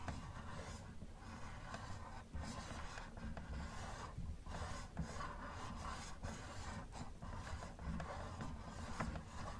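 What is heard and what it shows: Gloved fingers rub and scratch the hood of a hollow yellow plastic Camaro model toy car. The result is a steady, low, muffled scratching rasp, with brief dips and a few brighter scrapes along the way.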